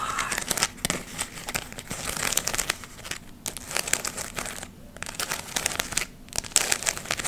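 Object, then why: Fabric leaf ornament with glitter. Long nails scratch and rub a palm-sized round glitter fabric ornament, covered in glittery gold, red and brown artificial maple leaves and held in both hands. This produces bright, dense crinkling and crackling in quick bursts, separated by a few brief pauses.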